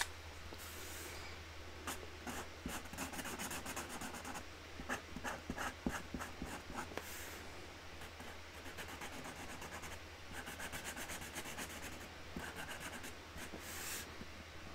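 A hand colours a flower on a flat white cardboard box lid with a grey Sharpie marker, rubbing the felt tip across the cardboard. Quick, scratchy rubbing strokes come in bursts, with bright, hissy edges over a steady low hum.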